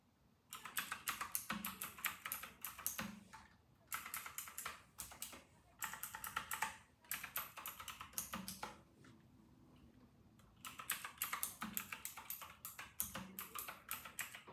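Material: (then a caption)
Plastic. Fingertips of both hands type continuously on a white and silver RK960 plastic mechanical keyboard with round typewriter-style keycaps. Bursts of bright, clicky keystrokes come in quick flurries, broken by brief pauses and one longer lull with faint background noise.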